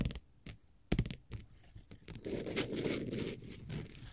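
Long pointed gold metal finger-jewelry nail caps tap and scratch a flat, solid orange glitter faux leather sheet. Scattered sharp, dull taps come first, followed by a steadier, continuous rough scratching through the second half.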